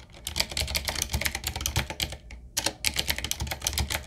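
Fingertips of both hands type fast on a full-size, typewriter-style 7Keys retro mechanical keyboard with a solid body, round plastic keycaps on a dark metal plate, and a wooden-looking frame. A rapid stream of sharp, bright clacks with a low thock beneath each keystroke pauses briefly just past the midpoint, then resumes.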